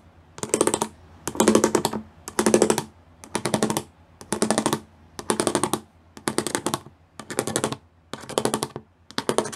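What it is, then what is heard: Plastic studded sheet. Fingers with long nails tap rapidly across a gray plastic studded sheet, making dense, clicky, bright bursts of tapping. The bursts come in a steady series of short runs, each lasting under a second and separated by brief quiet gaps.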